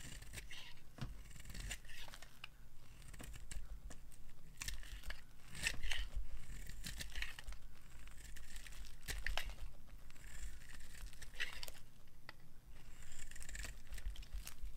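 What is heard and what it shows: A hand-sized solid orange bar of dry soap with a black coating is held in the hand and scraped with a metal knife, peeling off orange shavings. The blade makes steady, dry, crisp scratching and crumbly shaving sounds with bright, brittle edges over a low background hum.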